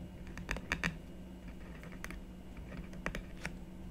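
A stylus tip makes short, repeated scratching strokes on a black-coated scratch art board lying flat on a wooden table, while the other hand, with long nails, rests on the board. Brief, bright scratchy ticks come in scattered clusters over a steady low hum, each stroke dying away almost at once.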